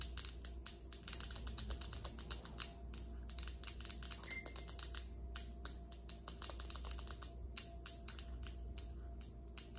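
Long acrylic nails of both hands tap fast on a large, solid, polished granite countertop. The result is a dense stream of sharp, bright clicks that die away almost instantly, over a steady low hum.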